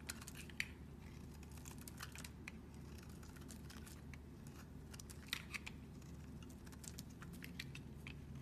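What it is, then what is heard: Bar of soap being shaved. A metal utility knife blade shaves curls off a solid square tan-yellow soap bar held in a hand with long nails. Quiet, rapid scraping and crisp, high ticks repeat throughout over a steady low hum, with a few sharper cuts standing out near the start and middle.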